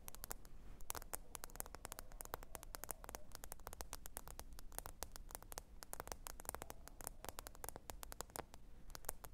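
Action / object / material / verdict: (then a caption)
tap / smartphone with glass screen / glass / none. Long pointed nails tap rapidly and continuously on the glass screen of a small, thin black smartphone lying flat, screen up, on faux fur. The taps are short, sharp, bright clicks with almost no ring, over a steady low rumble and soft hiss.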